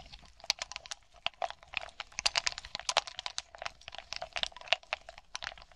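Long nails tap rapidly on a grape-like cluster of small hollow glass balls resting on a dark cloth, which is then picked up. The result is a dense run of quick, bright glassy clicks with a faint pitched tone and almost no ring or low end.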